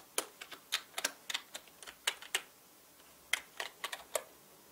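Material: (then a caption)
Plastic. Fingertips of both hands type fast on a full-size black mechanical keyboard with plastic keycaps and a dark frame, lying on a red cloth. About sixteen sharp, bright, dry clicks come in an uneven rhythm. Each decays almost instantly, with no low-end thump.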